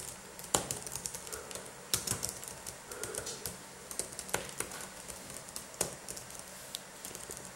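Gloved fingertips type rapidly with both hands on a black laptop keyboard with plastic keys. The result is a dense run of short, bright plastic key clicks with a few louder, sharper taps standing out.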